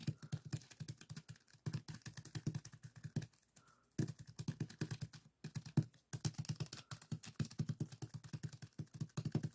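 Fingertips press and scratch a small clear plastic zip-lock bag full of purple sand granules resting on a table, and one hand briefly covers the bag. The result is a quiet, rapid run of short, dry, crackling taps and gritty scratches with a low, thumpy body. It pauses briefly around the middle before the quick tapping resumes.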